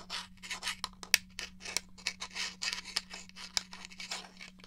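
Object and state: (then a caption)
Plastic game controller. Fingernails scratch and rub the casing of a hollow grey plastic N64 game controller, making a quick series of bright, raspy strokes with a few sharp clicks between them. A faint steady low hum runs underneath.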